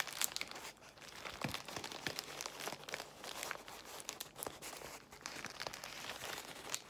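Long white nails scratch and squeeze a large bundle of clear plastic bubble wrap. The result is a dense, bright crinkling with sharp crackles and small pops, steady and quiet throughout, with almost no low end.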